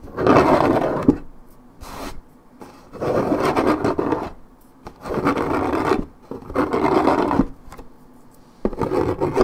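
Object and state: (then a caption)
Paperboard juice carton being scratched. Long nails scratch the printed side of a coated paperboard orange juice carton near a scuffed strip. Dry, raspy scraping comes in repeated strokes with short quiet gaps between them. The sound is mostly low-mid and carries little high content.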